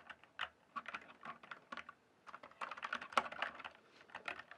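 Fingertips type and tap on the solid plastic keys of a full-size backlit RGB keyboard, a Cyberpowerpc Skorpion K1, resting on a dark surface in dim light. About nineteen short, dry key clacks come in irregular bursts with brief pauses between them, each one crisp and midrange with a bright edge and almost no ring.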